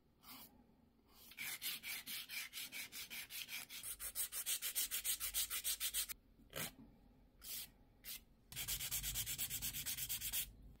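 A white foam-core emery nail file is rubbed back and forth across a long, clear, hollow plastic press-on nail tip worn on a fingertip. Quick, bright, hissy scraping strokes come in steady rhythmic runs, broken by a pause with a few single strokes before a final fast run.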